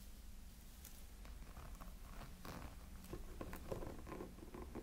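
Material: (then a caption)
Silicone. Fingertips scratch the textured body of a small, hollow silicone light-up snowman figure. The result is a quiet, irregular run of soft, dry rasping scratches with brief brighter crackles over a steady low rumble.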